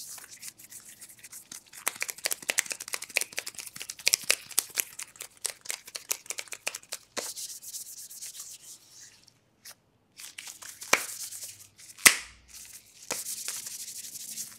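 Black latex gloves worn on both hands are rubbed and wrung against each other fast and aggressively. The first half is a dense run of crisp, bright crackles and squeaks, which gives way to a smoother, hissing rub. After a brief pause, two sharp snaps stand out before a steady high rubbing hiss closes the clip.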